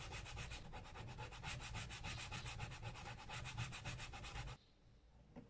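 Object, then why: Leather sneaker with rubber sole, sanded with an abrasive block. A white abrasive file block is rubbed back and forth along the white rubber sole edge and the brown leather toe and heel of a single hollow, empty Dr. Martens Solaris leather sneaker held in hand. The result is a fast, steady run of rasping, bright scraping strokes over a low rumble. The strokes stop abruptly at about 4.5 seconds, leaving near silence.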